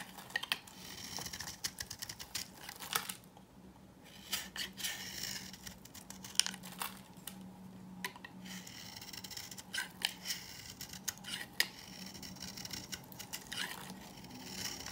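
A knife blade scrapes across and cuts slices off an old, dry, powdery beige bar of solid soap held in the hand. The result is quiet, bright, crisp shaving and crumbling scrapes with many short sharp clicks and crackles. A faint steady low hum runs underneath.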